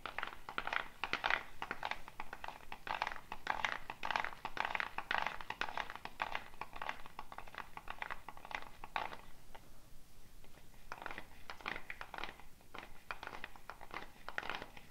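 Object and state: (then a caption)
Gourd shaker with wooden bead net. A hollow dried gourd shaker wrapped in a wooden bead net is held up by the neck and shaken, the beads rattling against the shell in dense, crisp bursts of bright clicks. The shaking breaks off briefly near the ten-second mark, then resumes with the same quick, dry rattle.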